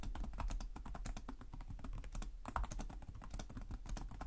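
Fingertips type quickly on the plastic keys of a black laptop keyboard, producing a dense, steady stream of short clicky taps with a brief pause midway. A low hum sits underneath the clatter throughout.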